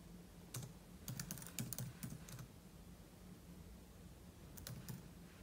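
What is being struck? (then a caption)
Laptop keyboard with plastic keys in a metal body. Fingertips type on a silver aluminum laptop keyboard with plastic keys, producing quiet, bright clicks in irregular bursts. A short flurry of taps comes in the first half, then a pause, and a few more taps near the end. A steady low hum continues underneath.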